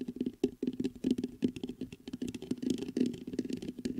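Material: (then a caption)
Metal mesh. Fingertips tap and scratch the mesh grille of a black metal USB microphone. A quick, irregular run of close, muffled taps and soft scratching follows, with a dull low-mid thump in each touch and almost no ring after it.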